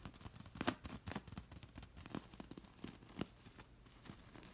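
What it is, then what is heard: Beaded linen throw pillow. Fingertips and long nails scratch quickly over a soft, filled beige linen throw pillow with a seed-bead pattern. The result is a rapid run of short, dry, bright rasps and crinkly ticks at a low level, each dying almost instantly, with a few stronger strokes standing out.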